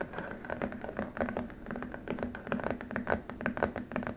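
Fingertips and short nails tap and scratch across a long, flat, white rigid plastic keyboard wrist rest with rubber feet pads. A steady run of quick, dry, hollow-sounding taps mixes with soft scratchy strokes in a close, quiet setting. Each tap dies away almost at once.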